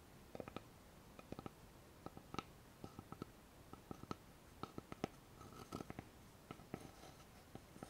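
Long fingernails tap and scratch a thin, flat, solid light-wood board with a notched edge. The result is a quiet, irregular run of short, dry clicks that stop almost instantly, with faint scratchy friction between the taps.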